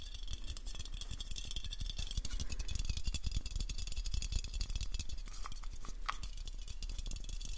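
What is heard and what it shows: Fast fingertip and nail tapping on a black, hand-sized aluminium aerosol spray can with a purple and white label, held near the mic; the can is hollow, and its fullness is unknown. The tapping is a dense, continuous stream of short, dry taps with a heavy low thump and bright clicky edges. A few brief hollow ringing tones stand out near the end.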